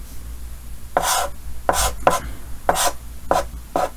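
Yellow chalk held in the fingers scratches six short strokes across a large, flat, solid painted chalkboard with a green frame. Each stroke is a brief, dry, bright scratch over a steady low hum.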